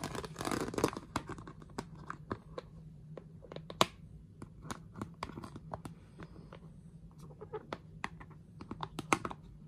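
Long fingernails scratch and rub along the ridges of a glossy orange plastic storage box lid near its grey plastic handle. A dense, crinkly rasp at the start gives way to sharp, bright clicks and scrapes that stop dead, with a low steady hum underneath.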